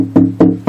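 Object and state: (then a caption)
Loose brace in acoustic guitar back. Four knocks are tapped along the wooden back of an acoustic guitar, its strings muted with foam between fretboard and strings. Each gives a short, woody, low-mid tone with a faint buzz that dies away quickly. The buzz shows the third brace back is loose.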